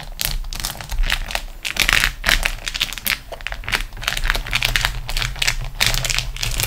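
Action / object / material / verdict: scrape / beeswax-coated cotton food wrap / waxed cotton / none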